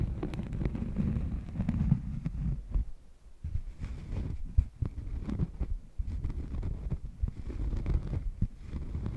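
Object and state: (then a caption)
Cork coaster scratched by nails. A thin, solid cork coaster is held against a furry microphone windscreen and scratched with long painted nails. The result is a deep, muffled rumbling scratch made of dense low thumps and rustles with almost no high end, briefly quieting twice before the scratching picks up again.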